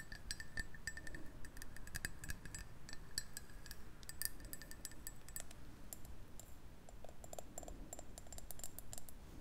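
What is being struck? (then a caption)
Ceramic mug. A black ceramic coffee mug with printed text, hollow and empty-looking, is held in both hands and tapped and scratched with long painted nails. Rapid, dry clicks and light taps ring out in short, bright tones over a steady low rumble, with scratchy patches between the taps.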